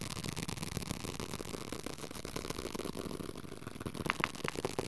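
Fingertips rapidly tap and scratch the paper cover and page edges of a small paperback copy of the Dhammapada. The result is a dense, continuous papery crackle with a broad hiss-like texture. A few sharper, brighter taps stand out near the end.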